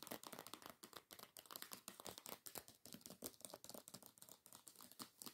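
Long nail tips tap and scratch rapidly across the cover of a hardcover book with a paper dust jacket lying flat. A dense run of quick, dry, crinkly clicks and scrapes fills the clip, bright and papery with very little low end. Each tap stops almost instantly.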